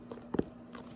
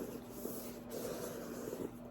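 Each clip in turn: First: softcover book, smooth cover. Second: hardcover book, smooth deeper sound.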